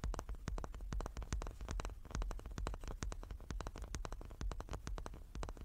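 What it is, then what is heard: Wooden cube. A small wooden cube is tapped repeatedly in quick, uneven succession. Each tap is a short, dry click with little ring, heard over a steady low rumble.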